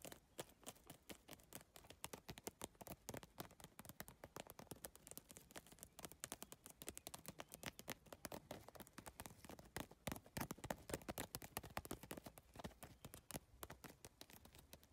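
Long nails tap quickly across an iridescent holographic PVC bag covered in triangular plastic tiles. The result is a dense, continuous stream of short, dry clicks with a crisp, bright edge that never pauses for the whole clip.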